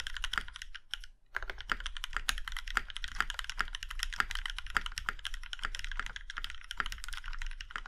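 Both hands' fingertips type on a compact Plum Iron 165 mechanical keyboard with a plum-red aluminum case and black keycaps. A rapid, steady stream of short, bright clacks and taps runs throughout, with a brief pause around the one-second mark. Each keystroke stops dead with almost no ring.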